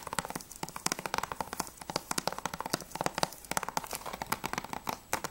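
Fingertips and nails tap quickly on the front cover of a hollow plastic Battlefield Bad Company 2 PS3 game case with a clear sleeve, holding a disc. The result is a rapid run of short, dry, clicky taps with little low end and bright, crisp tops that die away almost instantly.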